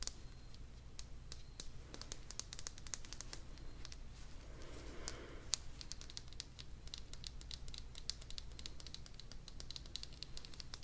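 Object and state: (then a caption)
Hollow vinyl toy figure. A small, hollow purple vinyl toy figure is held close and tapped rapidly with long dark nails, producing quick, bright clicks much like typing on a keyboard. A brief soft scratchy rustle occurs midway, over a steady low hum.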